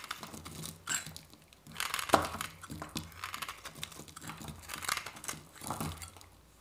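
A metal knife blade scrapes and shaves a hand-held, solid white dry soap bar, curling flakes off it. The clip is a run of dry, crinkly scraping strokes with bright, papery texture, each stroke brief and quickly stopping. The loudest, sharpest cut comes around the two-second mark before the shaving continues more softly.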